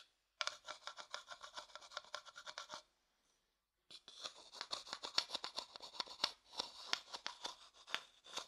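A thin wooden stick rubs and scrapes the inside of an empty, pale, hollow wooden bowl in quick rhythmic strokes. A dry, bright rasping with no low end plays for a little over two seconds, stops for about a second of silence, then returns denser and more irregular until the end.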